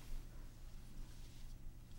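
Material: Nothing is struck.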